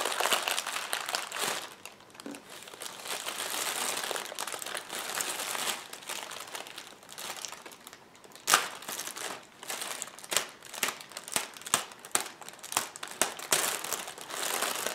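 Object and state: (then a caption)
Plastic air-cushion packing strip. Fingertips press and scratch a clear polyethylene inflated air-cushion packing strip lying on a table, then pinch and crinkle the thin plastic film at its edge. Steady bright crinkling and scratchy rustle fill the first half, giving way to a dense run of sharp, brittle crackles and snaps.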